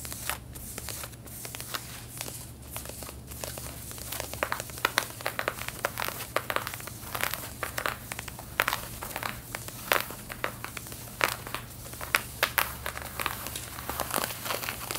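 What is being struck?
Denim jeans.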